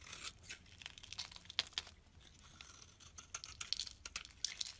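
A solid pale pink oval soap bar, held in the palm, is shaved with a utility knife blade into white flakes. Quiet, bright, crisp scraping and crackling strokes come in quick, uneven bursts, with almost no low end.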